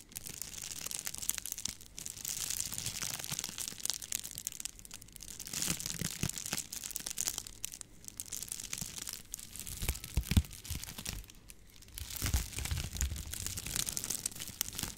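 A hollow, forearm-length rolled tube of clear plastic bubble wrap is held in both hands close to the microphone while long-nailed fingers twist, squeeze and crinkle it. Dense, bright crinkling and crackling runs throughout in waves, with brief sharper pops and soft low handling thumps.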